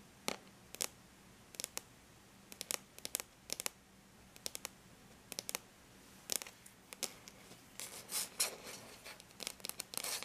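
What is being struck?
Aluminum laptop lid.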